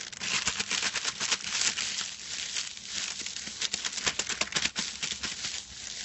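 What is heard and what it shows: Fingertips of both hands scratch and scrunch a large silver metallic foil sheet lying flat on a white cloth. The result is a steady, bright crinkling and crackling with dense clusters of sharp, short rustles that swell and ease over about six seconds, with almost no low end.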